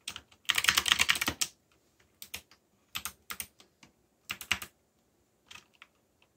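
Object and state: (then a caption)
Mechanical keyboard typing. Fingertips type on a backlit mechanical keyboard with black plastic keycaps and a yellow backlight. A fast, dense run of bright, clicky keystrokes comes first, then short clusters of taps separated by pauses. Each click is sharp and dies away almost at once.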